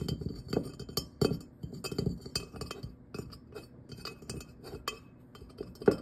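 Fingernails and fingertips tap the glossy ribbed shell and stem area of a hollow, glazed ceramic jack-o'-lantern pumpkin with a cut-out face and a glowing light inside. The result is an uneven run of quick, light clinks and clicks, each dying away almost at once, with a bright edge over a soft body.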